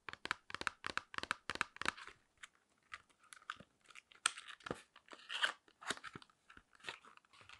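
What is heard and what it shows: Long nails tap, scratch and squeeze a small, flat, hand-sized printed cardboard box of nose pore strips, its hollow body giving a quiet, dry crunch. A quick run of crisp, bright taps opens the clip, then gives way to looser scratching and crinkly squeezes, each sound ending at once with no ring.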